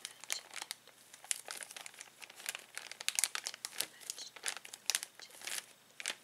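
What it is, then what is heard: Plastic zip bag of small toys. A hand presses, rubs and squeezes the film of a clear plastic zip bag holding small plastic toys. The result is a rapid run of dry, bright crinkles and crackles with no low end, in uneven bursts that stop short without ringing.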